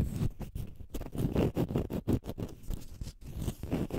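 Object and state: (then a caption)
Konjac sponge scratched with fingernails. Fingernails scratch the rounded side of a palm-sized, pale green konjac fiber facial sponge that is solid and porous. The result is a rapid run of dull, muffled scratching strokes. The sound is mostly low and soft, with little brightness and short gaps between strokes.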